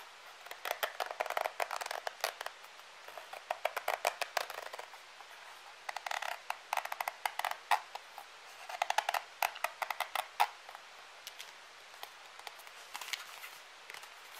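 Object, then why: Soft plastic cosmetic squeeze tube. Fingernails and fingertips tap and scratch a hand-sized, pale green soft plastic cosmetic cream squeeze tube that is hollow and apparently partly filled. Quick, dry, clicky taps and light scratches come in dense bursts with short pauses, each click dying almost instantly. The sound is hollow and papery with bright edges and no low end.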